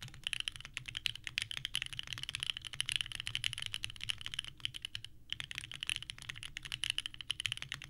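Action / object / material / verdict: tap / mechanical keyboard with plastic ABS keycaps / ABS plastic / none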